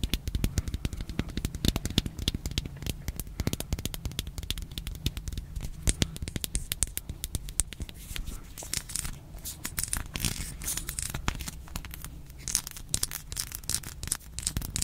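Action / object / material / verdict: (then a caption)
tap / small hard plastic toy box / plastic / none. Long nails tap quickly on a small, hollow, hand-sized pink hard plastic toy box and scratch its textured sides, making a dense stream of dry, crisp clicks. Brighter, scratchy rasps come in over the second half. A steady low hum sits underneath throughout.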